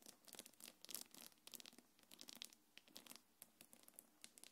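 Long nails scratch across a small black quilted faux-leather belt bag with gold metal chains. The result is a quick run of crisp, bright scratching and crinkling sounds that are close and quiet. Each burst fades almost instantly.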